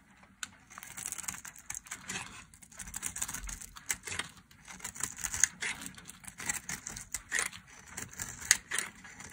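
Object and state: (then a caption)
Dry soap bar being carved. A solid, dry red soap bar with ridges is held in a hand with long nails and shaved into flakes with a metal blade. Crisp, bright scraping and carving strokes come in irregular short bursts with a papery crackle, each cut ending quickly with almost no low end.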